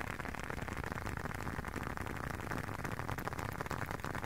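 A closed, hand-sized blue leather long wallet is held up near the microphone and tapped and scratched with fingertips and short nails. The result is a dense, steady stream of soft, rapid patters and scuffs with a low, muffled body, rather like light rain on a surface.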